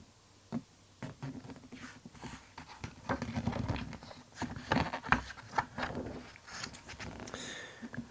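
Fingertips and a flat palm rub and brush across the glossy printed paper pages of a large softcover Splatoon art book lying open, then the pages are turned. Soft, dry swishes and light tapping contacts rise into louder papery crackles and flaps as the pages move, over a quiet background hiss.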